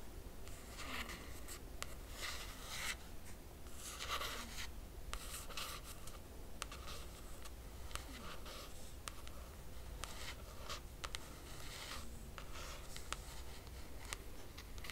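A single long nail traces and taps along the laminated cardboard cover of a closed hardcover book. Quiet bursts of bright, papery scratching alternate with short, sharp taps over a steady low background hum.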